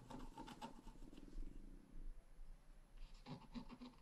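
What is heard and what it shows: A wooden stylus scratches flower and grass lines on the right side of a flat, black-coated scratch-art paper card. The result is quiet, dry scraping with short bursts of strokes at the start and again near the end, separated by a softer, steadier rasp.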